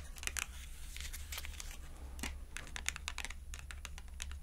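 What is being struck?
Thin cardboard clothing tag.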